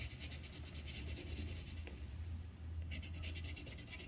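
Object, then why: Wooden colored pencil on a paper sheet over a clipboard. The tip of a yellow wooden colored pencil rubs a thin white paper sheet on a clipboard in many quick, short strokes while filling in a petal, producing a rhythmic, bright scratchy rasp. The scratching pauses briefly near the middle and then resumes, over a steady low hum.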